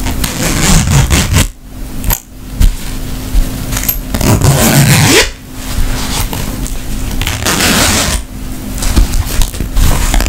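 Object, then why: Woven fabric makeup pouch. A tapestry-fabric makeup pouch held up close is scratched and tapped with long nails. The result is a steady, dense rustling scrape with crackly texture and a low hum near 266 Hz. The scratching breaks off into brief pauses a few times.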